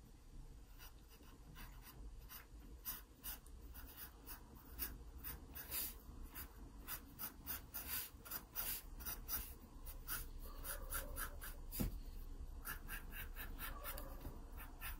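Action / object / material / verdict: scrape / wooden pencil on paper sketchbook page / paper / none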